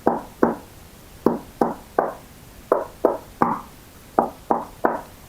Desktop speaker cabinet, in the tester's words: you knock on this, it just sounds a bit more hollow to me